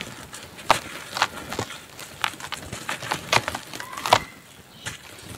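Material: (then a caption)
Dirt. A large dry red dirt chunk is held in bare hands over a bowl while fingertips squeeze and crumble it into powder amid thick dust. Sharp, dry cracks and snaps stand out over a steady gritty crackle, each crisp and bright with almost no ring.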